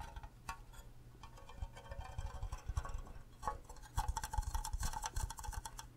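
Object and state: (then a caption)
Empty hollow plastic mug. An empty, green, cube-shaped hollow plastic Minecraft creeper mug is tapped and scratched with fingernails on its base and sides. The result is a quiet, dense run of light taps and scratchy clicks with soft low thumps underneath. The taps are dry and short, and they grow busier and louder over the final two seconds.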